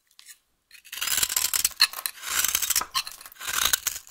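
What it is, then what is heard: Bar of soap scraped with a knife blade. A solid, dry yellow vintage soap bar held in the hand is scraped and carved with a utility knife blade, and shavings fall onto the table. After a few faint ticks, long bursts of bright, crisp scraping rise and fall with short pauses between strokes.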